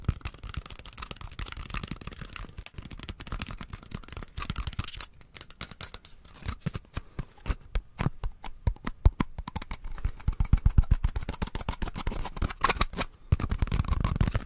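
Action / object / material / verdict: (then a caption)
scrape / cardboard tube / cardboard / none. Fingertips and nails scratch and tap along a small, hollow brown cardboard tube with a white end cap, held in both hands close to the mic. The result is a rapid, uneven stream of short, dry taps and scratchy rustles. Each tap has a soft, hollow low thump, with brighter scraping on top and quieter pauses between bursts.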